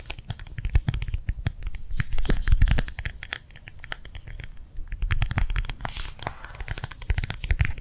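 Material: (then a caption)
Plastic. Long nails tap quickly and unevenly on a small, round, clear plastic gel-filled hand warmer pad held upright in both hands. The dense, crisp clicks carry a soft, low thump from the gel. The tapping eases to a quieter stretch midway, then picks back up.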